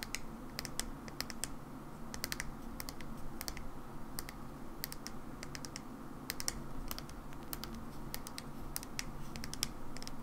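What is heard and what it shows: A medium-size, hollow mauve plastic Living Proof hair cream bottle with a white cap is held in the hands and tapped with long nails. The result is a steady run of short, bright, clicky taps, close to typing on a keyboard, each dying away almost instantly over a constant low background rumble.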